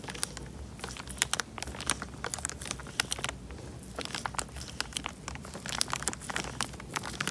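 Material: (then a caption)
Plastic. Fingertips squeeze and crinkle the thin film of a small clear plastic bag full of water, held in front of a microphone, with bubbles moving inside. Dense, crisp crinkling and sharp, bright crackles pop out in quick irregular bursts over a low, steady rumble, each snap dying away almost instantly.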